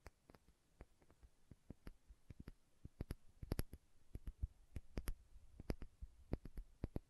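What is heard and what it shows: Long nails tap and click on the glass body and label of a small, filled glass condiment bottle with a red plastic cap. The quiet, sharp clicks come in an uneven stream, each with a dull low thump and a brief bright tick that dies away almost at once.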